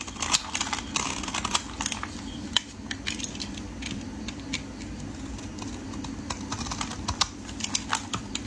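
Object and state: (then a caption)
Bar soap shaved with a blade. A metal utility blade scrapes and shaves the end of a solid rectangular orange bar of soap held in the hands. Quick, crisp, bright scratching ticks come in uneven bursts over a steady low hum.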